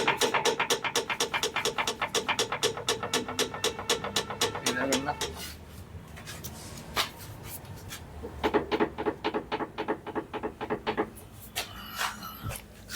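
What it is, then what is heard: Worn, loose rear suspension link rods. Worn, loose metal rear suspension link rods on a Mahindra Thar, raised on a lift, knock as the rear suspension is moved by hand. The result is a rapid, fairly regular train of sharp metallic knocks with a bright ringing edge for about five seconds, then a quieter gap with a few isolated clicks, then another burst of knocks. The knocking is abnormal heavy suspension noise, and the link rods are due for replacement.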